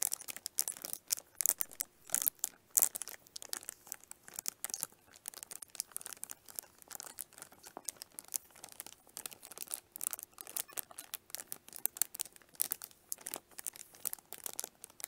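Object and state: Cellophane-wrapped plastic lunch case.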